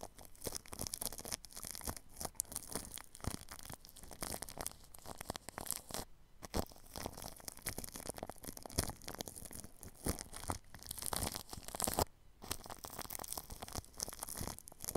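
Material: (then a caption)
Plastic film. A paintbrush sweeps across plastic cling film wrapped over a ball microphone's grille, making a continuous close crinkling, scratchy rustle with dense rapid strokes. The sound is broadband with some low thump and bright hiss, and it pauses briefly around 6 and 12 seconds.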